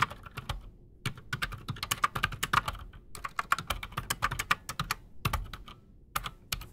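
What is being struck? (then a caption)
Mechanical keyboard with PBT plastic keycaps. Both hands type fast with their fingertips on a solid, full-size black Redragon mechanical keyboard with silent switches and PBT plastic keycaps, resting on a desk. The result is a rapid run of short, dry keystroke clicks centered in the midrange with bright edges, broken by brief pauses between bursts.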